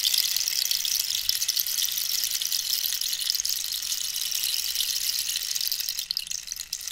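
A long, hollow dried-cactus wood rainstick is held and tilted so its inner pellets fall through it, while long nails scratch and tap the ribbed wood. The result is a steady, bright, hissing patter like rain that thins and flickers near the end.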